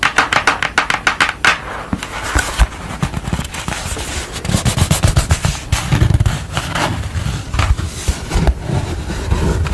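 Long nails tap and scratch a purple construction paper drawing, first lying flat and then held up. Rapid crisp taps and scratchy crackles run throughout, with a low thumping body beneath the brighter papery clicks.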